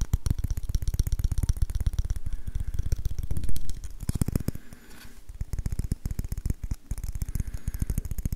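An orange varnished wooden ladle is tapped rapidly with fingertips and nails along its solid handle and hollow bowl. The result is a dense run of short, dry, low-pitched knocks with bright clicky edges from the nails, swelling louder partway through before briefly softening and then resuming.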